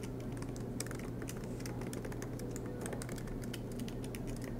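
Both hands type steadily on a silver MacBook Pro's low-profile black plastic keys, set in an aluminium body, with the laptop resting on a desk mat. A continuous run of quick, light, bright key taps plays over a steady low hum.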